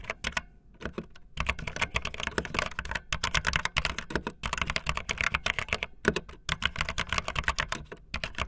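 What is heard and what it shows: Fingertips with long nails type fast on a backlit optical linear plastic mechanical keyboard with white and blue plastic keycaps. The result is a dense, rapid stream of bright, clacky keystrokes over a low thock, with brief pauses between bursts.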